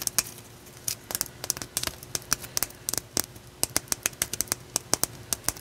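A solid, palm-sized, rough raw blue calcite chunk is held in one hand and tapped and scratched with long nails. About 25 sharp, bright clicks and ticks arrive in irregular bursts, each dying away almost at once, over a faint scratchy hiss and a low steady hum.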